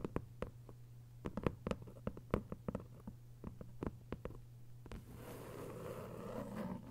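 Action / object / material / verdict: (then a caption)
tap / hardcover paper book / paper / none. A thick hardcover novel with a paper dust jacket, lying flat, is tapped and scratched with long white nails. Quick, sharp, dry taps come in an irregular flurry over a low steady hum for about five seconds. They then give way to a soft, continuous scratching rustle.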